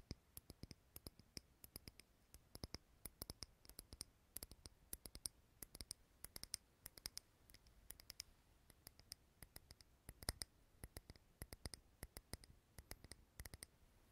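A small clear glass candle jar filled with green wax, lit and held in the hand near the recorder, is tapped with fingernails. About 75 quick, quiet taps in an uneven rhythm give short, dry, bright clicks with a faint low knock beneath. Each tap dies away almost at once.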